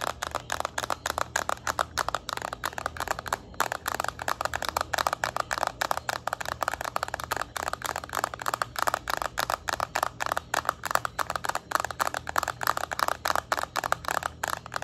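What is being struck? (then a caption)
Plastic handheld game console. Long nails rapidly tap and scratch the plastic back of a yellow Nintendo Switch Lite held tilted in the hands, making a dense stream of sharp, dry clicks centered around 1.2 kHz. The clicks stop instantly with no ring, over a faint steady low hum.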